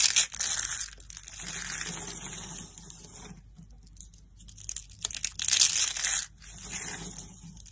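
Fingers with painted nails grab and crush handfuls of dry orange soap flakes from a pile set beside rolled orange soap roses and blue flakes. The result is a dry, bright, crackly crunching and crinkling, loudest in bursts at the start and again around five to six seconds. A quieter stretch of soft rustling falls between the bursts.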